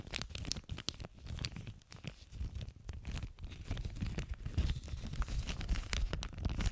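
An empty clear plastic zip-lock bag with a red seal strip is stretched and crinkled between both hands in front of a microphone. The result is dense, irregular crinkling and crackling, with bright sharp snaps over a heavy low rumble, in uneven bursts that grow slightly louder toward the end.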